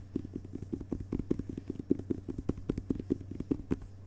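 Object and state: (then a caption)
Hardcover book with paper dust jacket. Fingertips tap rapidly across the glossy paper dust jacket on the front cover of a closed hardcover book resting on carpet. The result is a quick, uneven patter of soft, dull taps, each with a muted low-mid thud and almost no brightness, dying away at once over a faint steady low hum.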